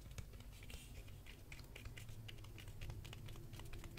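Fingertips tap the spine of a hardcover Berserk volume 2 book held upright, making a steady run of quick, soft, dry taps over a low background rumble. Each tap is short with bright clicky edges and dies away almost instantly.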